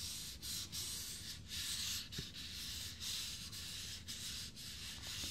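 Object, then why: Fiberglass dummy head. Fingertips of both hands rub and scratch across the forehead, top of the head and face of a life-size hollow fiberglass binaural dummy head with a smudged face. A steady bright, hissing scrape is heard, broken by brief dips as the strokes change direction.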